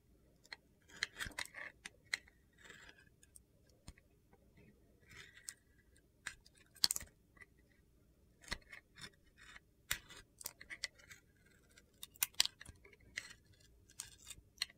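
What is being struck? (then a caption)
Glitter-coated soap bar and metal blade. A metal box-cutter blade shaves the glitter coating off a solid red soap bar with star sequins, held in the hand, exposing the yellow soap underneath. Irregular bursts of crisp, bright, gritty scraping and crunching come in short strokes with quiet gaps between them. Each sound cuts off quickly with almost no ring.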